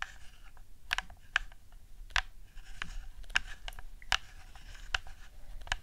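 Long nails tap and click the buttons and sticks of a hollow plastic PS4 DualShock 4 controller with a camouflage skin. About ten sharp, bright clicks and taps stand out over a quiet, low rumbling background, each dying away instantly with no ring.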